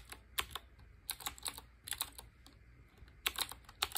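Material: Plastic and metal.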